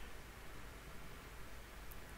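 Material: Nothing is struck.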